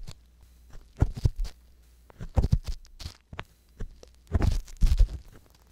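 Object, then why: Silicone ear of a binaural microphone. An ear pick held in a fist grip scratches inside the canal of the right silicone ear on a white binaural microphone. Close, muffled scraping and crackling come in short clustered bursts, dominated by deep low-end thumps with faint bright rustle on top. Quiet gaps separate the bursts.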